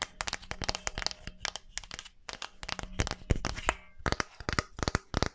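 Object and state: Wooden mannequin hand.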